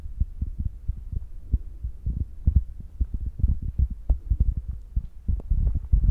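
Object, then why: Foam microphone windscreen. Fingertips with short nails tap rapidly and repeatedly on the soft, spongy black foam windscreen covering the mic of a handheld Zoom recorder. Each tap lands as a deep, muffled thump with almost all its energy in the low end around 66 Hz, stopping dead with no ring. The fast run of dull thuds blends into an uneven, throbbing pulse much like a heartbeat.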